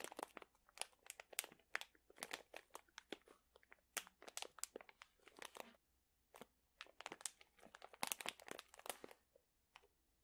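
A sealed plastic pouch full of dried chili peppers is crinkled and squeezed with fingertips and nails, giving a quiet, dense run of crisp, bright crackles and crunches. The crinkling comes in busy bursts, with a brief lull just before the sixth second, then trails off into a few sparse crackles at the end.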